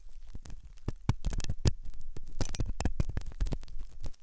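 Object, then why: Silicone ear model with hollow canal. A metal dental pick scrapes inside the hollow ear canal of a white, soft silicone ear on a binaural microphone. The result is a rapid run of short, dry scratching clicks and crackles over a low rumbling bed, with sharp bright transients and almost no ring.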